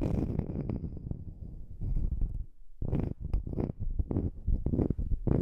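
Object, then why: Small round wood slice coaster. Long manicured nails scratch and tap a small, flat, round slice of solid wood used as a coaster, held just above the microphone. The sound is soft, low and dull: scratchy rubbing first, then after a brief quiet near the middle, a run of short, muffled taps with almost no ring.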